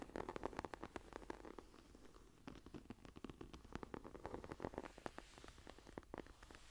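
Long nails on both hands scratch and tap the textured cover of a closed green leather journal with a grainy surface, lying flat. Quick, crisp taps land over a soft, continuous scratchy rustle, keeping up a busy, even rhythm throughout.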